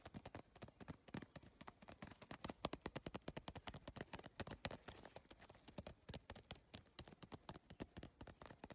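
Long lavender nails tap rapidly on the iridescent triangular plastic tiles of a holographic geometric PVC tile bag. The result is a fast, steady stream of sharp, dry clicks that are bright and broadband and stop instantly with no ring.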